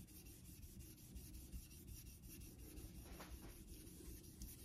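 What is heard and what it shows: A vintage Geneva Cutlery steel straight razor, held by the fingertips, is honed back and forth across a solid light-blue rectangular Naniwa synthetic water stone set in a metal holder over a steel sink. The result is a quiet, steady, low-heavy rubbing and scraping with faint, irregular stroke pulses and a few brief brighter swishes.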